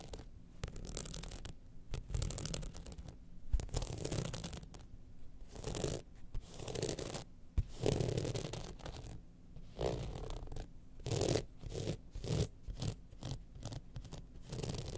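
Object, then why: Rhinestone-studded evening clutch bag. A gold rhinestone-studded evening clutch bag is tilted in the hand while long nails scratch across its studded side. The result is a series of dry, rasping scratches and scrapes, brief bright bursts over a low rumbling base, with short pauses between strokes.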